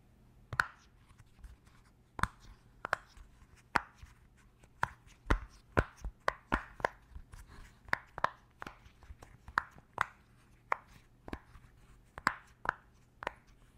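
A round, purple, hand-sized silicone pop-it fidget toy with hollow bubble domes is held up while fingertips and nails press and tap its bubbles. About two dozen short, dry pops and clicks land at an irregular pace over a faint, steady low hum. Each one has a hollow mid-range tone and dies away almost instantly.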